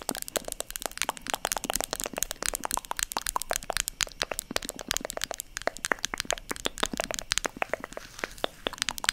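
Long nails tap rapidly on the lid of a small white plastic cosmetic jar, held in one hand close to the microphone. The result is a dense, steady stream of sharp, bright clicks with almost no ring and very little low end, lasting about nine seconds.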